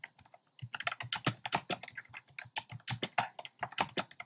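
Fingertips with short dark nails type on a compact plastic mechanical keyboard with a black plastic case and round pastel plastic keycaps. A steady run of short, crisp clacks with bright tops and a low thock under each keystroke, some strokes landing in quick clusters. It follows a brief quiet pause near the start.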